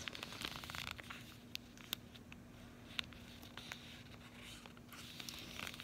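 A flat cardboard chocolate bar sleeve (Almonds & Sea Salt), closed with the bar still inside, is held upright and tapped and scratched on its front with long acrylic nails. The result is quiet, bright, dry clicks and scratchy crinkling with almost no ring, over a faint steady low hum.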